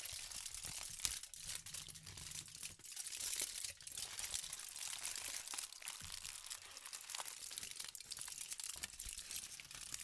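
A thin, crinkled sheet of aluminum foil is held in both hands while fingertips with pink painted nails crumple, squeeze and rub it. The result is a steady stream of bright, dense crinkling and sharp crackles, mostly in the high range. It stays fairly quiet throughout, with brief lulls near 3 and 6 seconds.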